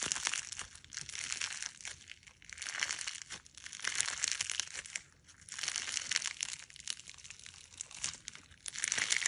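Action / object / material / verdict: scrape / clear slime with polymer clay fruit slices / slime / none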